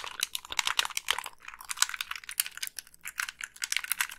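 Long pink nails tap the hollow plastic shell of a black Xbox 360 gamepad and click its thumbsticks and buttons. A rapid, uneven run of sharp, dry clicks and taps is heard, bright and high with almost no low end, each dying away almost instantly.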